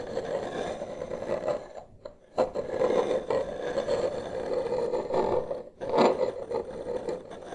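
Two wooden massage sticks, held one in each hand, slowly trace and scrape across a large solid wood-grain tabletop. The result is a steady, grainy scraping with a dull tone around 500 Hz. It breaks off in brief pauses near 2 and 5.7 seconds, then resumes in louder strokes.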